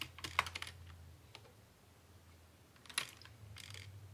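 Both hands type quickly with their fingertips on a full-size black plastic Dell computer keyboard with a hollow housing, producing dense, bright, short clicks and taps. A flurry of keystrokes at the start fades into a quieter pause, then a sharp tap near three seconds leads into another brief burst of typing over a faint low hum.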